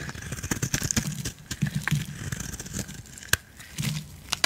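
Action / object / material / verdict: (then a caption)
scrape / bar of soap scraped with a metal blade / soap / none. A metal blade cuts and scrapes curls off a solid yellow bar of soap until a small block remains. The result is a dense run of crisp, crackly scraping with low rumbling drags and sharp bright clicks throughout.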